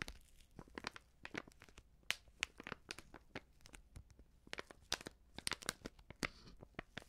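Long nails scratch and crinkle a medium, filled white plastic Prix Garantie seasoning bag. The result is a dense run of sharp, bright crackles and short scratches with very little low end, each snap dying away almost instantly.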